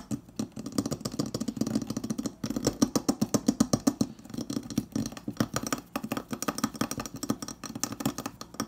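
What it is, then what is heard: Stainless steel refrigerator door. Fingertips and nails of both hands tap and scratch the edge and panel of a hollow, insulated stainless steel refrigerator door. The result is a fast, uneven stream of short, dull, hollow knocks centered low, around 230 Hz, with faint bright scratchy rasps between them. The taps die away almost instantly.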